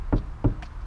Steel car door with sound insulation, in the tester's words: Когда стучишь по ней, даже звук глухой. То есть реально шумка здесь действительно очень хорошая.